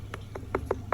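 Knocks on stone pool deck tiles, checking whether they sound hollow, are moving, or are cracked. Five short, dull knocks with a firm midrange tone and almost no ring, over a low background hum. The tiles sound solid, not hollow or loose.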